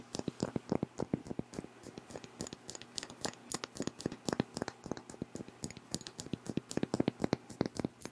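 A hand-sized pink Versace Bright Crystal glass perfume bottle with a faceted cap, filled with pink liquid, is held in both hands while fingernails tap and scratch its glass facets. Quick, dry, crisp clicks come in a steady stream, mixed with short scratching sounds. Each tap dies away almost instantly with no ringing.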